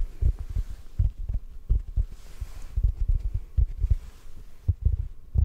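A large, yellow, porous synthetic foam sponge block, soft and solid, is held in one hand close to the microphone and gently tapped with the fingertips of the other hand. The result is a series of soft, muffled, deep thumps with almost no ring, like a slow, uneven heartbeat, over a faint low hum.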